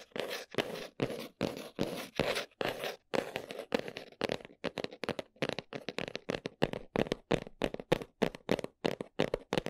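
Long nails scratch and tap across the folded flaps of a brown cardboard box in a steady run of dry, papery strokes. The early strokes are longer, scratchy swipes; later they become quicker, shorter scratches and taps. Each stroke has a mid-range rasp and stops dead with no ring.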